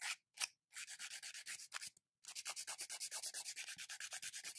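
A long, hard gel- or polygel-coated fingernail, small and solid, is rubbed back and forth with an abrasive emery nail file held in the other hand, filing and grinding off the polish. The file makes quick, bright, raspy scratching strokes, about 33 of them, with brief pauses near the start and around the two-second mark before a steady run of strokes to the end.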